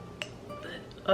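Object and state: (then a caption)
Authentic heavy ironstone dish, dull thud. An old, unstamped ironstone dish with crazing is thumped, giving short, dull thuds with little ring. The heavy piece's low thud marks it as authentic ironstone rather than a newer, lighter piece.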